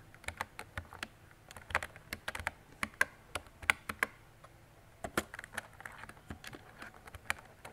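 A mint-green retro mechanical keyboard with round plastic keycaps and a hollow body is typed on with fingertips and long decorated nails. About two dozen sharp, bright plastic clicks and clacks land at an irregular pace, each dying away almost instantly over a quiet low hum.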